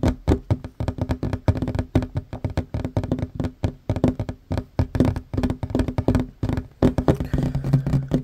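Both hands fast-tap a flat, solid wooden tabletop with short fingernails, making a rapid, continuous flurry of dull, low knocks. Each tap is short and dry with almost no ring, keeping an uneven drumming rhythm throughout.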